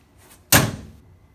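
An aftermarket Dirt Specialties door on a Commander UTV, passenger side, is shut once with a single sharp, full-range slam that dies away over about half a second, preceded by a faint rustle. A plastic barrier added between the door mount frame and the outer panel removes the tinny slam noise, so the door closes nice and solid.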